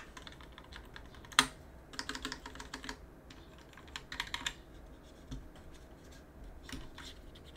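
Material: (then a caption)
Plastic, aluminum. A gloved hand works a cotton swab around the switches of a mechanical keyboard with an aluminum plate and plastic keycaps, scratching and rubbing between them. Quiet, bright, crackly bursts of scraping and light ticking come in short clusters, with one sharper click near the start. Faint low hiss fills the gaps between them.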